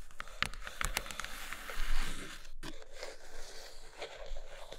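Long nails scratch and tap the inner floor of an empty brown kraft cardboard box tray. Dull, low knocks mix with dry, crinkly scraping and sharp, bright clicks. A brief silence falls midway before the scratching resumes.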